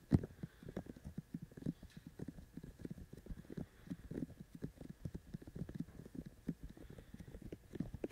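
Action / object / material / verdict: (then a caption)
tap / binaural microphone with silicone ear shells / silicone / none. Fingertips of both hands tap quickly on the white silicone ear shells of a binaural microphone. The result is a steady, irregular patter of soft, dull, low thuds that die away instantly, opening with one sharper knock.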